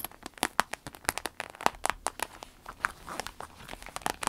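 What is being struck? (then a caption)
Vinyl zip pouch filled with cosmetics. Long red nails tap and scratch the clear vinyl panel of a small clear vinyl zip pouch with black trim, full of cosmetics, laid flat and turned over. Many quick, sharp plasticky taps with crinkly scratching between them, bright and dry with almost no low end and no ring.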